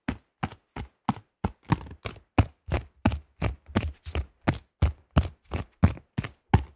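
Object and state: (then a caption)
Plastic flying disc. A thin, hollow-backed cream-yellow plastic disc golf disc with a stamped logo, about 20 cm across, is held up close and tapped quickly with fingertips and nails. It gives a steady run of short, dry, hollow knocks, each with a deep thumping body and a bright clicky edge that stops almost at once. Some taps come in quick doubles.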